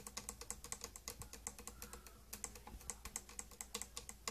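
Long green-grey painted nails tap quickly on the domed top and front of a closed, hollow, glossy purple plastic tattoo kit case. About thirty-four dry, bright clicks each die away almost instantly, with a brief lull near the middle. A steady low hum runs underneath.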